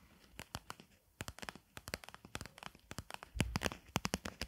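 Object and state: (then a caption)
Plastic container tapped with nails. A medium, hollow clear plastic container full of pink mesh material is held in the hands and tapped and scratched on the outside with long acrylic nails. It gives a quick run of dry, crisp clicks and ticks with a bright edge, each dying away almost at once. The tapping grows denser and louder toward the end, with a soft low thump among the clicks.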